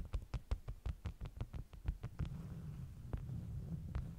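Long nails tap and scratch the top sheets of a stack of flat beeswax-coated cotton wraps. A quick run of soft, dull, low thumping taps gives way to a steadier, quieter scratching rustle, with a couple of stray taps near the end.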